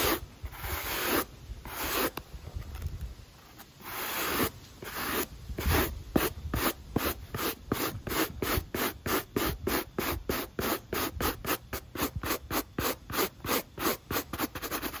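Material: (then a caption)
Rubber. A black rubber sneaker sole, held in the hand, is brushed with a pale-bristled wooden brush in quick scratching strokes. A few long, slow rasping sweeps give way to rapid, evenly spaced bristle scratches, about 34 strokes in all, each a bright, breathy scrape that stops cleanly.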